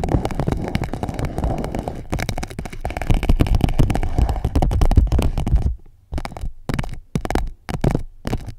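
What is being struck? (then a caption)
Clear PVC plastic pouch. An empty clear PVC pouch wrapped around the microphone is scratched and tapped by long nails. Nearly six seconds of dense, low, rumbling crinkle-scratching give way to short separate bursts of tapping and rustling with silence between them.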